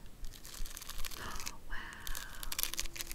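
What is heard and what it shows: A small square gold-rimmed metal compact covered in pink rhinestones is held in the hand while long acrylic nails scratch across its surface. Dense, gritty scratching and clicking crackle on at an uneven pace, with bright sparkly ticks and a faint tonal squeak midway.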